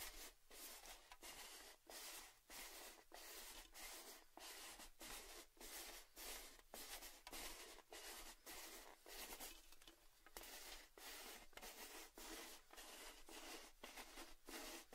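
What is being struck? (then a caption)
Metal gift tin with lid. Fingertips and nails tap and scratch the lid and upper side of a hollow, red cylindrical Baileys metal gift tin with its lid on. About 21 brushy, scratchy strokes come in an uneven rhythm, bright and hissy with a faint hollow tone and short decays.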